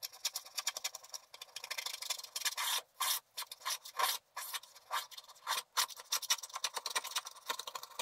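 A wooden stylus keeps scraping the black wax-coated layer of a flat scratch art paper sheet. Quick, dry, bright rasping strokes come in dense bursts with brief pauses between them, with almost no low end. The scratching stays thin and papery throughout.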